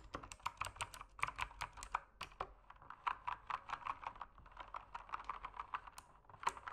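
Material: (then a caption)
Plastic. Fingertips type steadily on an RGB-lit mechanical keyboard with plastic keycaps. They produce a quick, uneven run of short, dry clicks and clacks with a bright, mid-pitched snap and very little low-end thump. Each keystroke dies away almost instantly.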